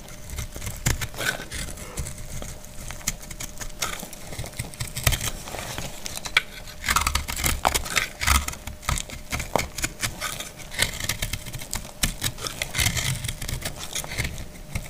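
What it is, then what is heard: Dried soap bar, cut and scraped. A solid dried pink speckled soap bar held in hand is cut and scraped with a utility knife blade, making flaky shavings fall. Many short, dry scraping and crackling strokes follow one another closely with bright crunchy edges and a low rumble. The strokes stop almost instantly, with no ring.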